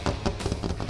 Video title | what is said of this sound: VLOG #7 [E46 REAR CLAM * E36 BONNET * OVERFENDERS* I'M FLAT OUT!!!] | it's all full contact to the mold still can't hear there's no hollow hollow sound or anything so this is still good